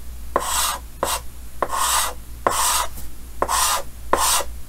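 Yellow chalk held in the fingers makes rapid scratching hatch strokes on a large, solid, flat painted chalkboard with a green frame. Six separate gritty, rasping strokes are heard, each with a tone around 1 kHz and a bright, hissy edge, over a steady low hum.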